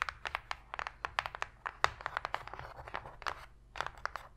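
Long pink nails tap quickly on the floor of an empty, open, hollow white cardboard box tray, making about 22 sharp, dry clicks with almost no ring. Between the taps, faint scratching of the nails across the cardboard adds a soft, papery rustle over a quiet low hum.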